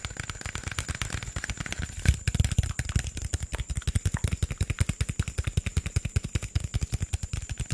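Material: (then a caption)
Plastic. Fingertips and nails rapidly tap an upright, hollow green PET Sprite plastic soda bottle. The result is a fast stream of short, dull, hollow thumps with little ring and a faint bright clicky edge. The taps get louder and more distinct after about two seconds.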